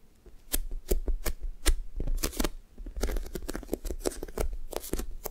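Long nails and fingertips tap, poke and scratch a thick, soft, solid foam toast squishy toy with a sticky blue top. A quick, irregular run of sharp, bright clicks is heard, each with a soft low thud underneath and faint sticky crackling between them.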